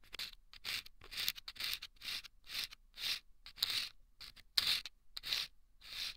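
A thin bamboo ear pick scrapes and scratches inside a small hollow paper tube lined with sandpaper and taped, fitted over the left ear of a binaural mic. Thirteen short, dry, gritty strokes come one after another, each a bright, high rasp with almost no low end and little ring after it.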